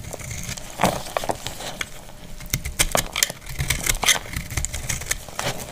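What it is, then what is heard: Dry soap bar. A solid, dried light green soap bar held in the hand is scraped and cut with a metal utility blade into crumbly flakes. Crisp, bright scraping and crackling cuts come in quick, dry bursts over a faint low rumble.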